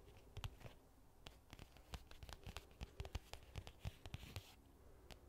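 Long nails scratch and tap on a medium-sized, hollow black hard-shell case with a faux leather cover, held in both hands. The result is a quiet, irregular run of quick, dry taps with a low, hollow thump, mixed with soft scratchy rasps and bright clicks that die away instantly.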